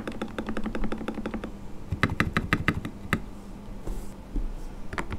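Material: Polycarbonate.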